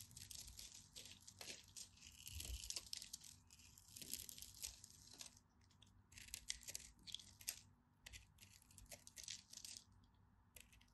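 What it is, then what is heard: Bar of soap being scraped. A hand-sized pink and white striped solid bar of soap has flakes scraped and carved off its end with a utility knife blade. The result is a quiet, dry, crackling scrape made of many bright, crisp bursts that come and go in uneven waves.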